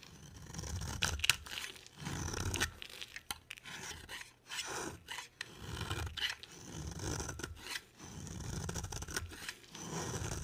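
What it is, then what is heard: Bar soap being shaved. A dry, solid orange bar of soap, palm-sized and held in the hand, is scraped and shaved with a box cutter blade. Repeated rough, rasping strokes give bright, crackly shaving noise over a soft low rumble, with brief pauses between passes as the shavings pile up.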